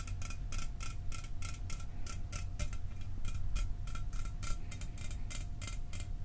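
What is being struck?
Aluminum soda can.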